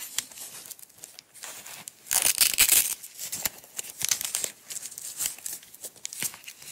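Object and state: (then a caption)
Velcro strap being pulled apart. Long acrylic nails and fingertips pull a small coiled roll of green nylon hook-and-loop (velcro) strap apart and unwind it, making a dry, bright ripping and tearing sound. The rips come in uneven bursts, with the loudest, longest tear around the two- to three-second mark, then softer crackling pulls.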